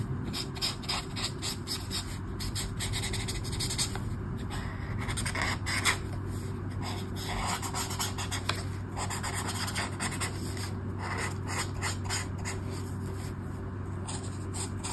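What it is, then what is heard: Paper colouring book page. A brush pen tip scratches and rubs across a flat paper colouring book page with an orange mandala in steady colouring strokes. The hand and pen stay on the page throughout. The result is a continuous stream of short, dry scratchy strokes with bright hiss over a low steady hum, and no speech.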